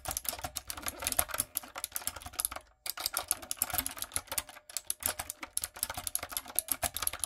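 Fingertips and long acrylic nails type on a light-up, typewriter-style mechanical keyboard with round plastic keycaps. The result is a rapid run of bright, sharp plastic clicks and clacks, each dying away almost instantly. Brief pauses fall near 2.7 and 4.6 seconds.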